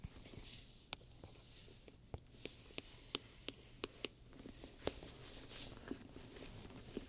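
A wooden pointer scratches and taps across a large black pebbled-leather purse covered in domed metal studs, soft and hollow and lying flat, while the other hand steadies the bag. A quiet, bright scratching hiss runs underneath a series of short, sharp ticks and clicks as the pointer strikes the studs, each dying away almost instantly.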